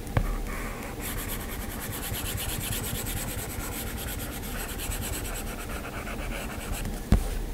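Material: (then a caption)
Glass. Fingertips touch and pinch a flat glass iPad touchscreen, then a plastic-tipped Apple Pencil taps and strokes across the glass while drawing. Soft, steady, bright scratchy strokes continue under a low rumble, with a sharp tap near the start and another near the end.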